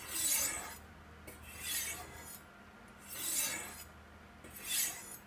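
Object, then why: Steel knife blade on ceramic sharpening rods. A large steel chef's knife is drawn down along two solid white triangular ceramic rods set in a V in a black plastic Sharpmaker base with brass safety rods, while another knife lies in the foreground. Four slow, separate strokes each make a bright, high rasping scrape of steel on ceramic that swells and fades, with quiet pauses between them.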